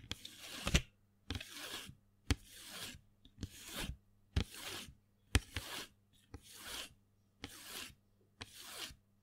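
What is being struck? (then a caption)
Small cardboard box of colored pencils. Fingernails scratch and rub a small printed cardboard box full of colored pencils held in the hand. Short, bright, raspy strokes come in a steady series, each starting with a sharp click and separated by brief silences, over a low, faint hum.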